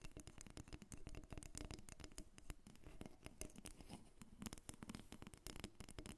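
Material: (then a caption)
Wood. Long red nails tap and scratch a solid carved wooden dolphin figurine, about 25 cm long, lying on a glass table. A quiet, rapid stream of short, dry clicks mixes with soft scratching, and each tap dies away almost instantly.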